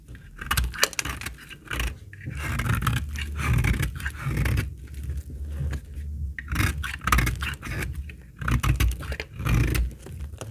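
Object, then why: Bar of laundry soap scraped with a steel blade. A steel utility-knife blade scrapes and cuts thin shavings from the edge of a solid brown bar of old, dry laundry soap held in the hand. Repeated dry, crackly scraping strokes come in uneven bursts, with a heavy low rumble under brief bright crisp clicks.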